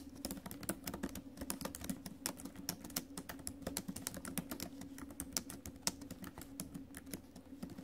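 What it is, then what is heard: Laptop keyboard with plastic keys in a metal body. Fingertips and acrylic nails type fast on the plastic keys of a silver metal laptop, producing a rapid stream of short, crisp clicks with bright, sharp clacks. A faint, steady low hum sits beneath the taps throughout.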